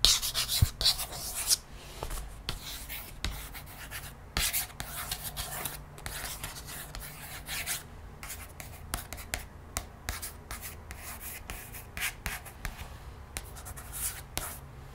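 Long nails and fingertips trace and scratch over the glossy paper illustration of an open hardcover picture book lying flat. Bright, dry scratching and rubbing is broken by sharp little nail clicks and taps, loudest in the first couple of seconds before settling into a steady, quieter scratch.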